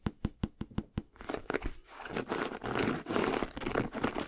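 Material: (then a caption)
Leather. Fingertips and nails work over a hollow, empty white and brown leather high-top sneaker with a rubber sole and gold eyelets, held up in both hands. Six quick, separate dull taps open the clip, then it turns into denser, crinkly scratching and rubbing across the leather upper and the sole.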